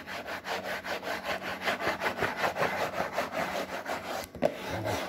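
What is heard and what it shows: Fingernails scratch and rub across a glossy printed paperboard box for a snack-maker product, making a steady series of dry, raspy strokes at a brisk, fairly even pace. The rustling sits in the mid-range with a bright edge. Near the end it breaks off briefly, then a sharper tap leads into softer rubbing.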